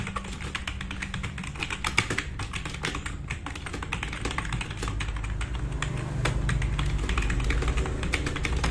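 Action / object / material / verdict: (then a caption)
tap / mechanical keyboard with plastic keycaps / plastic / none. Fast fingertip typing with both hands on a compact RGB-backlit mechanical keyboard with black plastic keycaps, resting on a wooden desk. Quick, uneven streams of short, bright plastic clicks and clacks fill the clip. A steady low hum sits underneath and grows slightly louder toward the end.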